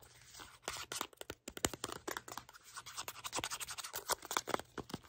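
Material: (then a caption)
Cardboard. Fingertips and nails tap, scratch and grip the faces of a small, hollow, red printed cardboard product box. A quick, irregular run of dry, bright taps and scratchy scrapes follows, each dying away almost at once with little low end.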